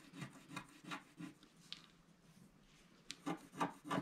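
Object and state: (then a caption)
Scratch-art paper being scratched. A thin wooden stylus held in the fingers scratches the black coating off a wax-coated scratch-art paper page with a galaxy and planets design, lying flat on a table while the other hand holds the sheet steady. About ten short, dry rasping strokes come in a loose rhythm, with a quieter stretch in the middle before the last few sharper scrapes.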